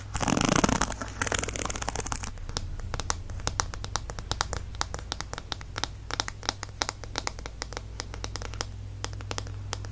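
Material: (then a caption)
Plastic. Fingernails tap and scratch on the smooth, glossy black plastic back of a hollow-backed paddle hairbrush. A louder burst of broad scratching in the first second gives way to a rapid stream of crisp, short, bright clicks and scrapes. A steady low hum runs underneath throughout.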